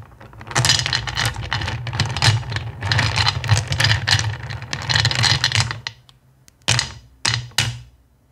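Both hands with long nails dig, rake and scratch through a pile of small, solid, clear acrylic gems in a black bowl. The result is about six seconds of dense, bright clicking and rattling over a low hum, followed by three short separate bursts of clatter.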